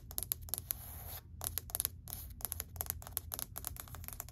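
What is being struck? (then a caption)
Wood-look laminate plank. Long white acrylic nails tap rapidly on a flat, solid grey wood-grain laminate plank. The result is a quick run of sharp, bright clicks that stop instantly, with brief pauses between bursts over a quiet low hum.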